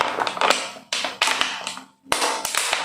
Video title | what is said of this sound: Apa yang kamu isi di dalam dirimu? | suaranya ada yang tidak kedengaran, tapi ada juga bagian yang bising.